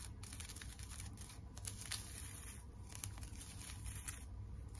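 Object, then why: Plastic tinsel over a wire frame. A wire-frame teddy bear decoration wrapped in plastic tinsel, held close to the mic, is scratched on its head and face by long nails. The result is a soft, continuous crinkly rustle with bright, sharp scratchy edges over a steady low rumble.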